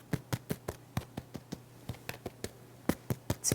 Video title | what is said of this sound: A Bread SO EASY Anyone Can Make It! No-Knead Artisan Bread | tap this so you can hear how wonderful this crust is